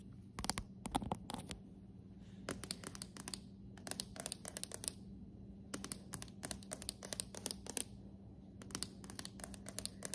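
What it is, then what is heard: Hardwood floor tapped with nails. Long acrylic nails tap and scratch on a polished dark hardwood plank floor, a solid surface. Sharp, quick clicks and scrapes come in rapid bursts separated by short pauses, over a faint steady low hum.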